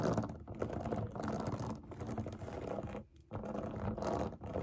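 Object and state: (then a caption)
Silicone pop it fidget toy. Long nails tap and scratch rapidly across the bubbles of a large round rainbow silicone pop it fidget toy resting on a table. The result is a dense, continuous clatter of soft taps and scratches, with a brief near-silent pause around the three-second mark before the tapping resumes.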